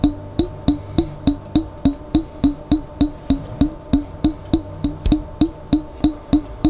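Fingertips steadily tap a large clear glass Vlasic pickle jar, lid on, held on its side and partly filled with water. There are 23 quick, evenly spaced taps, each a short hollow knock pitched around 305 Hz with a bright glassy edge. Each tap dies away almost at once.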